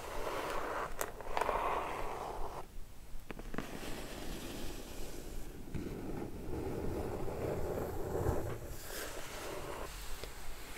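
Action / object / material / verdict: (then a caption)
scrape / closed kraft cardboard box / cardboard / none. Long red nails scratch and rub across the top and sides of a closed, hollow kraft cardboard box. The result is a continuous, low, rough scraping rasp with a few sharper scratchy strokes standing out.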